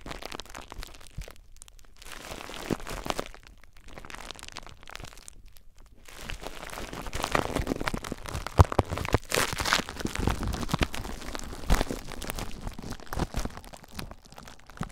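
Clear plastic bubble wrap is bundled around a recorder while fingertips squeeze and pop the bubbles. Close crinkling and crunching runs throughout with sharp, dry pops, broken by brief quiet gaps early on. The popping grows denser and louder after the first six seconds.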